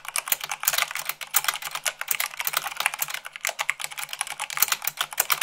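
Rapid typing with fingertips and long nails on a white plastic mechanical keyboard produces a fast, continuous stream of sharp, bright clicks and clacks with almost no low end. Each keystroke dies away almost instantly, giving a dense, crisp patter throughout.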